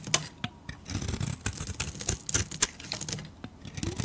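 A metal blade shaves and scrapes the surface of a solid pale bar of soap. Quick, crisp scraping strokes with bright, dry, crackling edges sound over a soft low rumble, each cut stopping almost instantly.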